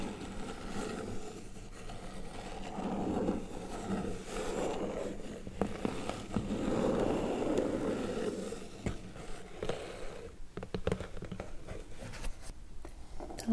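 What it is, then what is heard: Cardboard box. A small printed cardboard Color Loom Bands kit box, hollow with its contents inside and lying on a wooden table, is tapped and scratched with painted medium-length fingernails and fingertips, then gripped and lifted at the edges. Soft, hollow low-mid scratching swells in two longer rubbing passages, followed by sharper, irregular dry taps and clicks toward the end.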